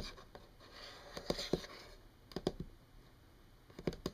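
Long painted nails tap and scratch a solid, flat brown wood-grain tabletop. Soft, bright scratching drifts between clusters of short, crisp taps with a dull woody body that stop almost instantly. The overall level is quiet and close.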